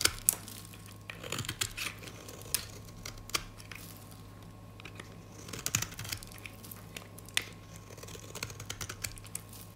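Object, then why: Bar of soap scraped with a metal blade. A gold metal utility blade scrapes and carves the surface of a rectangular, solid, white dry soap bar held in the hand, shaving off crumbly flakes. Quick, dry crunching and crackling scrapes come in uneven bursts, bright and crisp with almost no ring, over a faint steady low hum.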